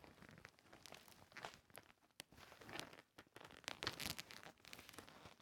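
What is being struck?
Fabric pouch covered in plastic sequins.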